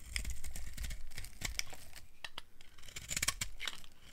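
A solid tan dry soap bar is held in hand while its edges are shaved with a small blade, producing crunchy flakes. The clip is a quick run of crisp, dry scraping and crunching strokes with bright, high crackle, each cut dying away almost at once over a faint low rumble.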